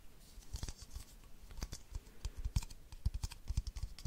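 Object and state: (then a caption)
Plastic baby bottle. Long nails tap and scratch the sides of an empty, hollow, hand-sized clear plastic baby bottle with a yellow ring and a printed giraffe. A quiet, irregular run of quick, short taps mixes with light scratching; each tap has a dull, low hollow thump and a brief bright click. Every sound dies away almost at once.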